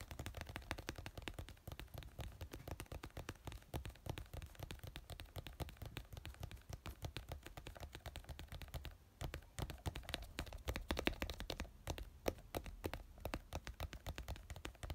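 Fingertips and nails tap rapidly on the body of a small white plastic glue bottle lying on a yellow cloth. The result is a fast, steady stream of short, dry plastic clicks with a soft low thump under each tap, pausing briefly twice along the way.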